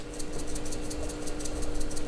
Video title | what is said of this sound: Platinum, Pilot Custom 823, Sailor: HUGE Pen & Ink Haul from Tokyo's ITOYA Stationery Store! | if I shake it, you can hear them shaking around